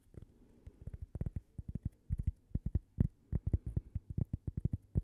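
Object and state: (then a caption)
Cork coaster tapped with fingernails. A single flat, solid, palm-sized cork coaster shaped like a slice of toast is held close to the microphone and tapped with long painted fingernails. The result is a quick, uneven run of 28 soft, muffled taps, each a dull low thud that stops almost instantly with no ring.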